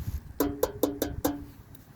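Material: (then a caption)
Steel. Five sharp taps and a faint sixth strike an aftermarket steel front bumper reinforcement, each giving a short, hollow ring around 285 Hz that dies away quickly. The part sounds hollow because it uses thinner metal than the original OEM steel reinforcement, which weighs two to three times as much.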